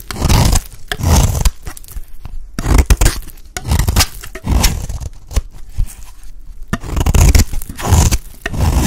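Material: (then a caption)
Soap. A blade scrapes along the edge of a solid, dry green bar of soap, shaving off curls in a series of rough, crunchy scraping strokes. Each pass gives a dry, low-heavy rasp with crisp bright edges and short quiet gaps between strokes.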